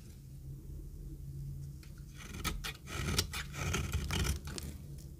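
A metal knife shaves crumbly flakes off a rectangular, solid, very dry orange retro soap bar held in the hand. After about two seconds of quiet low hum, a run of bright, dry, crackling scrapes begins, with short irregular bursts that crumble away quickly.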